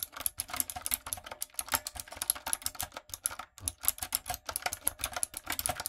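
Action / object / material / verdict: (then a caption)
tap / mechanical keyboard with plastic keycaps / plastic / none. Long nails and fingertips type quickly on a retro typewriter-style backlit mechanical keyboard with round plastic keycaps. A steady stream of bright, crisp clicks and clacks sounds with almost no ring and a brief pause about halfway through.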